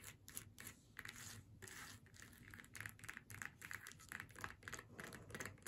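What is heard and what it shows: Long nails tap and scratch the face and hat band of a flat faux leather snowman door hanger lying on a table. A quick run of soft, dry taps mixes with brief bright scratching strokes that stop almost at once, over a faint low hum.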